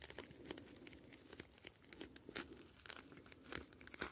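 A hand-sized plastic gel bead ice pack, a clear flexible pouch filled with small blue gel beads, is held up and squeezed and kneaded with fingertips. The plastic gives soft, irregular crinkles and brief bright crackles as the beads shift inside.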